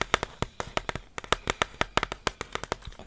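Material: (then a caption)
Cardboard. Fingers tap about 20 times in an uneven rhythm on a hollow blue Pringles ketchup tube made of cardboard and composite, held in one hand. Each tap is a short, dry knock with a bright click and a hollow, boxy tone that dies away almost instantly.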